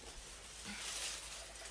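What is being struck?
Nothing is struck.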